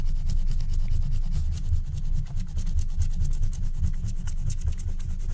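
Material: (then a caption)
Wax coating. A wooden stylus scratches quick strokes into the black wax coating near the top edge of a flat scratch-art card, held by a hand at the corner. A steady, dry scratching rasp runs throughout, with bright crackly streaks over a constant low rumble.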